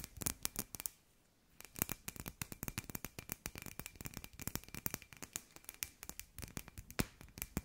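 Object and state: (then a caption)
Glass light ball. Long nails tap rapidly on a hand-sized hollow glass sphere with fairy lights inside, making dense, bright, clicky taps that stop dead with almost no ring. After a brief pause near the start, the quick irregular tapping carries on steadily to the end.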